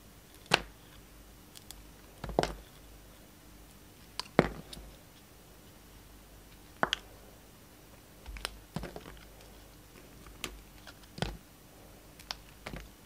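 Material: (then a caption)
Soap. A yellow utility knife's steel blade shaves a solid, hand-sized blue-and-white striped bar of soap into strips. Short, crisp scraping cuts sound at irregular intervals, each a quick bright snap with a soft, papery tail. Quiet pauses between strokes hold only a faint low hum.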